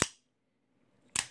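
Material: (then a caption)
Aluminum. A Microtech UTX-85 aluminum-handled out-the-front automatic knife is fired, giving two sharp, crisp snaps about a second apart with almost no ring after each. The mechanism sounds solid and tight, with nothing moving inside except the blade, unlike the cheaper knife that rattles.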